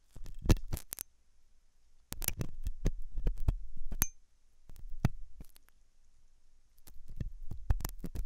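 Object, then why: Silicone ear model scraped with a metal tool. A hooked metal dental tool scratches inside the ear canal of a white translucent silicone ear model of soft solid rubber, likely mounted on a binaural ear microphone. Close, muffled bursts of scraping and tapping come in clusters separated by short quiet gaps. They are heavy in low thumping tones with brief bright clicks.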